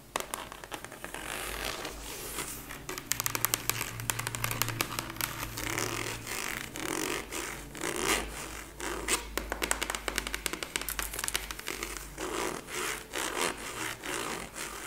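Long nails scratch and rub across a large purple translucent plastic expanding file folder, making dense, crackly scraping and rapid clicking ticks. The sound is bright and papery, with short bursts of quick taps mixed into continuous rubbing.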